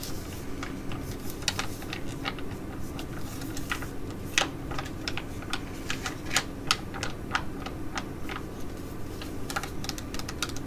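A flat, filled black and pink Mediheal H.D.P laminated foil sheet mask pouch is held and tapped and scratched with long nails. The result is irregular, sharp, bright clicks and brief crinkly scratches over a steady low hum.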